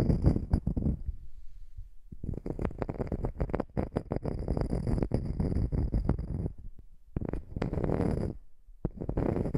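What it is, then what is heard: Wooden slice coaster. A small, flat, round solid wood slice coaster is held over the microphone and scratched and tapped with long nails. Bursts of dense, low, rumbling scratching and crackling tapping come in stretches, with a few brief quiet pauses between them.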